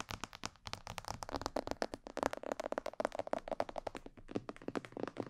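Long nails tap rapidly on the upper sides and ears of a hollow, glossy black plastic mannequin head microphone. The result is a fast, uneven stream of dry, clicky taps with a hollow mid-range tone around 560 Hz. Each tap dies away almost instantly.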